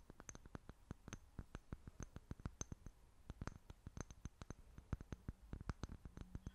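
Long fingernails tap and scratch a small, clear glass jar that appears empty and is held in both hands. A quiet, rapid, irregular run of sharp clicky taps follows, each with a faint bright glassy tick that dies away almost instantly over a soft low rumble.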